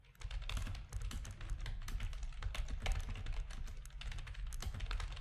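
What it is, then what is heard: Plastic computer keyboard being typed on. Fingertips of both hands type steadily on a full-size black plastic RGB-backlit keyboard with a hollow plastic housing, resting on a desk. Rapid, dense keystrokes give short, bright clacky taps that barely ring, over a steady low hum.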